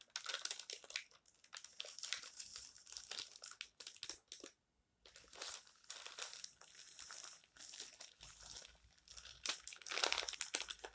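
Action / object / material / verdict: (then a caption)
scrape / paper magazine pages / paper / none. Bare fingertips smooth, rub and crinkle the thin printed pages of a thick open magazine lying on a table, and turn them over. The result is soft, bright, papery crinkling and rustling in dense bursts with almost no low end, broken by a brief silence just before the midpoint.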